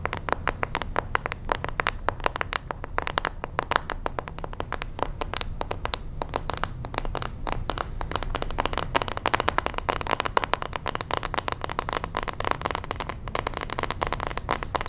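Long manicured nails scratch and tap rapidly across the back of a hand-sized pink plastic paddle hairbrush with a hollow shell. The result is a dense, steady stream of short, dry, bright clicks and scrapes that stop almost instantly, over a soft low rumble.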